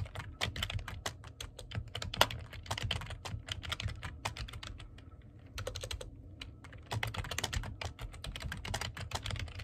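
Fingertips type fast on the keys of a black plastic computer keyboard. The sound is a dense run of short, crisp clicks over a low hum, with a brief lull in the middle before the rapid typing picks up again.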